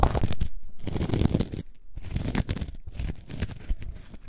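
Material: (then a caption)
Foam. Long nails scratch the top of a coarse orange foam sponge block lying on its side. The sound is a low, rough scraping and crunching that comes in uneven strokes, with brief quiet gaps between bursts.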